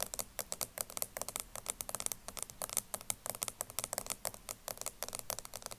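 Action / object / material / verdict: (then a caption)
tap / plastic cosmetic powder jar lid / plastic / none. Long nails tap rapidly on the black plastic lid of a small round loose powder jar, partly full of powder and standing upright on a table. The result is a quick, dense run of light, bright clicks with almost no ring, like fast typing. About 37 separate taps are heard.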